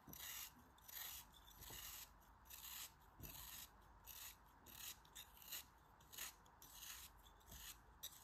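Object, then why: Kinetic sand chunk. A small faceted chunk of pink kinetic sand, held in the fingers, is shaved with a utility knife blade. It makes repeated bright, gritty scraping strokes at an uneven pace, each with a short rasping burst and little low end.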